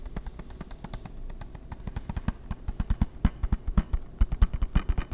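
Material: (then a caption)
Plastic. A closed, hollow hard-plastic PS3 game case is held in the hands and tapped with fingertips and nails. A quick, irregular run of short, dull knocks grows louder toward the end, each one deep and hollow with a faint clicky edge and dying away almost instantly.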